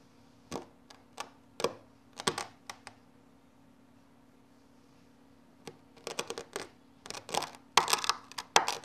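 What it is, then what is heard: Kinetic sand being cut. A hand-held red knife blade repeatedly presses into and cuts a flat patch of loose orange kinetic sand on a yellow surface. Short, crisp, bright crunches and clicks come at an irregular pace, then pause for a few seconds before returning in denser clusters. A faint steady low hum sits underneath.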